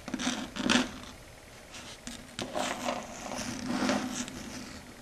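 Long red stiletto nail tips tap and scrape across a flat, solid, dark grey chalkboard surface. Scratchy, bright bursts rise and fade over a low hum, with a few sharper clicks in between.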